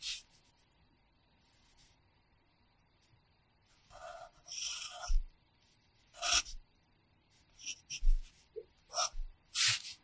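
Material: Paper.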